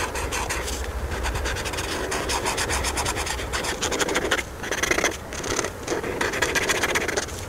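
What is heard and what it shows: The felt tip of a white marker, held by a hand with long painted nails, rubs and scratches across a thin paper coloring sheet with a handbag outline while filling in the ruffles. A steady, dry, raspy scratching of quick back-and-forth strokes carries bright papery hiss, dipping briefly in a few short pauses between strokes.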